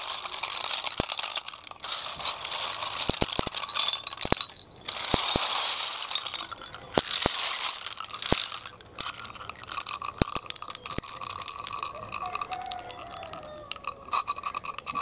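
A hand stirs and spreads a heap of small, hollow, empty snail shells on concrete, and the shells clink against each other. The result is a dense, bright rattling of quick, dry clicks that swells and thins in bursts, with almost no low end.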